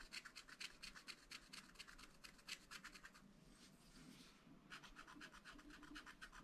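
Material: Coated paper.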